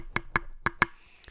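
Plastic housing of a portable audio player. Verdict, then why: Cheap. The plastic housing of a MUSE HiFi M5 Ultra portable audio player/DAC is tapped five times, giving short, sharp clicks that die away almost at once. The plastic sounds cheap.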